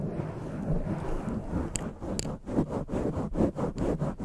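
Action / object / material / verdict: scrape / foam microphone windscreen / foam / none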